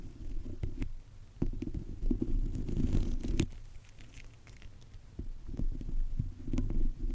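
A small bunch of fresh green grapes, held in the fingertips, is rubbed and squeezed against the top of a microphone. The result is a close, muffled, low rumbling squish with soft rubbing swells and scattered sharp little clicks and crackles, rising and falling irregularly throughout.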